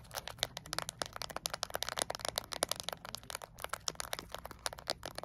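Long acrylic nails tap rapidly and lightly scratch across a small, flat plastic LED remote control with rubber buttons. The result is a dense, steady stream of short, bright clicks and crisp, crackly scrapes with almost no low end and no ringing after each tap.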